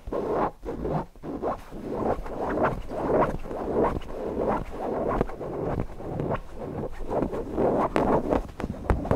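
Fingertips scratch the fabric body and beak of a stuffed cotton owl cushion. Soft, dry scratching strokes come in an uneven, steady run, each burst a muffled mid-range rustle with little high brightness and almost no ring.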